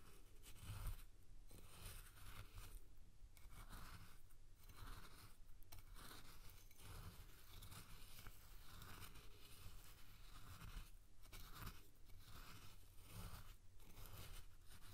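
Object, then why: Coarse salt in a glass bowl. A spoon pushes and scoops coarse salt around a clear glass bowl, scraping the grains against the glass. The result is a steady, crunchy, gritty scraping with brief pauses between strokes, over a low rumbling background.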